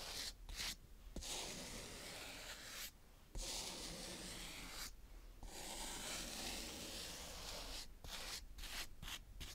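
A green plastic toy scoop rubs and scrapes across a round patch of brown kinetic sand on a tray. The result is a steady, bright, grainy hiss in long sanding-like strokes, broken by brief quiet pauses between passes.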